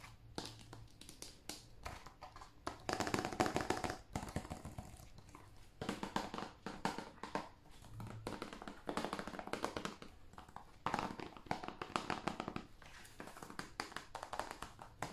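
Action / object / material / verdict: tap / plastic video game case / plastic / none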